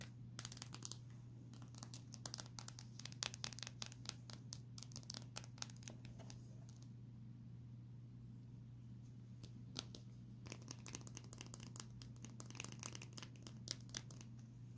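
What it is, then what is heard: Glass smartphone screen. Long painted nails tap and scratch the glass screen of a small, solid, hand-held Samsung smartphone with a white frame. Quick, crisp clicks and dry scratching arrive in dense bursts, go quieter around the middle, then pick up again. A steady low hum runs underneath throughout.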